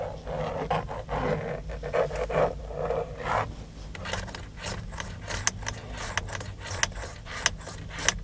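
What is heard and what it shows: Fingertips and short nails scratch and tap the textured black plastic airbag cover at the centre of a Dodge steering wheel, a hollow shell over the airbag module. Rough, raspy scratching strokes come first, then a series of sharp, bright taps with very little ring, all over a steady low hum.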